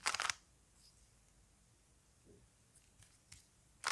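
A small plastic Rubik's cube is held in both hands while the fingers twist its layers. It gives a quick cluster of bright, snappy plastic clicks at the start and another burst at the end. Between them are faint scattered ticks over a quiet background.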